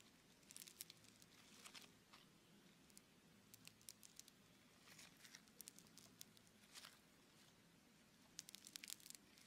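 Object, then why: Bead-filled foam clay lump. A small, soft lump of red bead-filled foam clay (Floam), solid and held in both hands, is squeezed, kneaded and pulled apart with the fingertips. It gives quiet, bright, crinkly crackling bursts with tiny sharp pops over a faint low rumble.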